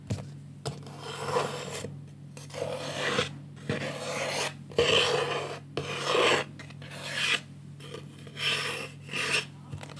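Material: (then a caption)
Wood. Fingertips and painted nails rub and scratch along the edges of a medium rectangular wooden picture frame, held in both hands, that has a green mat and a painted cockatoo artwork. The result is a series of raspy, uneven scratching strokes with a bright, airy texture, heard over a steady low hum.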